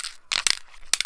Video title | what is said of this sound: You Voted!!! Living Proof Perfect Hair Day VS. No Nothing Very Sensitive Dry Shampoo | shake it until you hear a little ball inside the can